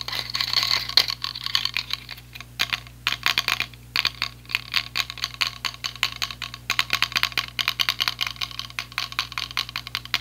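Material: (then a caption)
Plastic. A small, hollow, white and light-blue plastic clip-on selfie ring light is tapped and scratched with fingertips and nails. Rapid, dense bursts of bright clicking taps and scratchy rasps come in uneven clusters with short pauses, each hit dying out almost instantly. A faint steady low hum sits underneath throughout.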